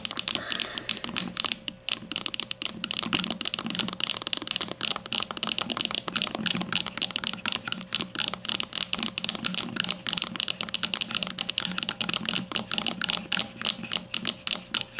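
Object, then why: Plastic deodorant stick. Long nails on both hands tap and scratch the front label side of a grey plastic deodorant stick standing upright. The result is a dense, continuous stream of crisp, bright clicks and scratchy rasps with almost no ring, over a faint steady hum.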